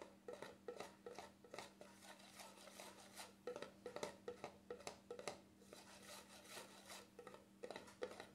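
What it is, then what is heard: Plastic cream jar lid. Fingertips rub and scratch across the black plastic lid of a small cream jar. The result is a quiet, irregular run of short, dry scratchy clicks and rasps over a steady low hum.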